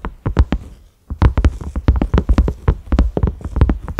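Fingertips from both hands tap rapidly on a large, round cream silicone lid with concentric ridges and a grey knob. The result is a fast run of soft, dull, low thumps with almost no ring, broken by a brief pause near the one-second mark.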